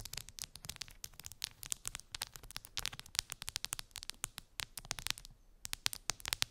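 Long pink acrylic nails scratch and tap across a clear plastic phone case covered in bumpy, colorful resin gummy bears, lying on fluffy fabric. A rapid, uneven stream of sharp, bright clicks and crackly scratches, each dying away almost instantly, with a brief quieter gap near the end before the tapping resumes. The sound stays soft overall, with almost no low end.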